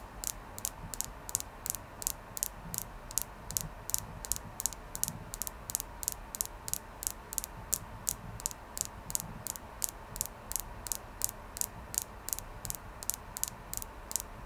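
Fingernails tap steadily on a clear quartz crystal, about 48 short, even taps over the clip. Each tap is a brief, bright tick that dies away almost instantly over a faint low background hiss.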